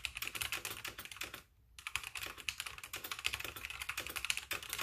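A full-size backlit mechanical keyboard with white plastic keycaps is typed on continuously with both fingertips while the mouse stays untouched. The result is a fast, bright clatter of short, dry key clicks, with a brief pause near the middle before typing resumes.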